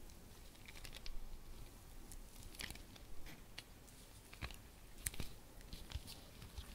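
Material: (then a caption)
Fabric. Long red nails scratch and tap a medium round bauble held in the hand, its brown fabric cover embroidered with a rose and trimmed with a blue ribbon and metal studs. Soft, irregular scratching and crinkling runs throughout, broken by sharper bright taps and clicks over a low, quiet rumble.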